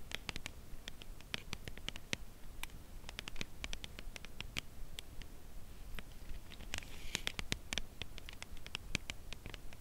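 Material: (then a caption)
Cardboard. Long acrylic nails tap on a slim, full cardboard chocolate bar box held edge-on. The result is a steady patter of quick, dry, bright clicks that stop instantly with no ring, over a soft low rumble.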